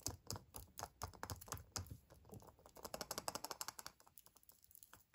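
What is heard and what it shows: A small, hollow Kinder Surprise chocolate egg in a printed foil wrapper, whole and unopened, is held in one hand and tapped and scratched with fingertips and nails. The result is a quick, irregular stream of short, dry, crinkly clicks with bright foil rustle and almost no ring, much like light typing. The taps are busiest in the middle and thin out toward the end.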